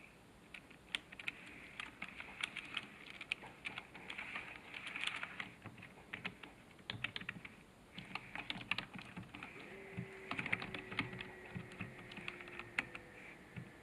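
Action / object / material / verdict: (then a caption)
tap / plastic computer keyboard / plastic / none. Fingertips of both hands type on a full-size black plastic computer keyboard lying flat on a wooden desk. The clip is a quiet, steady run of quick, light, bright key clicks with irregular rhythm, each dying away instantly. A faint steady tone hums underneath during the second half.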